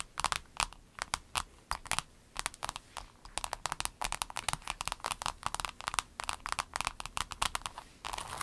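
Long acrylic nails on both hands tap a rainbow clear vinyl pencil case lying flat on a table. The result is a quick, uneven stream of short, bright, crinkly clicks that die away almost instantly. The clip closes with a brief stretch of continuous crinkling.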